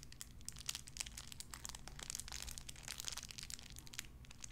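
A small clear plastic bag wrapped around a tiny white figurine is crinkled and squeezed between fingertips with long red nails. Dense, bright crackling rises and falls in quick overlapping bursts, with a steady low hum underneath throughout.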